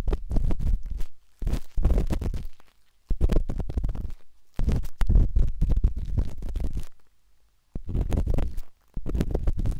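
A metal-tipped dot stick with a wooden handle scratches inside the soft, hollow canal of a pinkish-white silicone binaural microphone ear. Heard up close, it makes dense bursts of muffled, low rumbling scrapes and rapid tapping crackles, with short quiet pauses between them.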